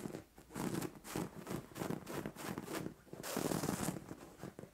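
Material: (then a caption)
Cotton fabric. Long orange-painted nails scratch and rub across a soft, padded white cotton-like fabric duvet or pillow on a bed. Quick, repeated strokes produce bursts of dry, bright, hissing rustle over a soft, muffled low-mid body, with a longer, denser scratch near the end.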